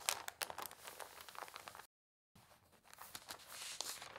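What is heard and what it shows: Long nails and fingertips rub and scratch across the pages of an open newsprint newspaper spread flat, making crisp, bright papery scratches and rustles. After a brief moment of silence, a page is lifted and turned with a softer, rising crinkly rustle.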